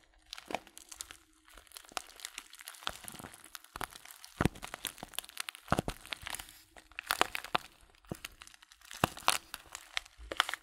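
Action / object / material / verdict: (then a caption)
scrape / filled paper tea bag / paper / none. A small filled paper tea bag (Blutorange) is turned in the hands while fingertips crinkle and press its paper sides. Dense, dry crackles and crunches come in clusters, with sharp, bright snaps over a soft rustle. The sound is quiet and close, with no ring after each crackle.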